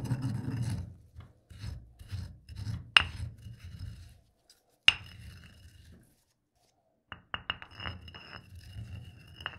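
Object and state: Granite mortar and pestle grinding coffee beans.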